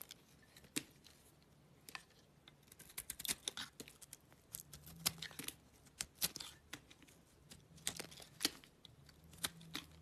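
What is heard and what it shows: A small solid oval cream soap bar with a pink-purple coating is held in the hand while a utility knife blade scrapes the coating away. The result is quiet, bright, crisp scraping and shaving clicks in irregular bursts over a faint low hum.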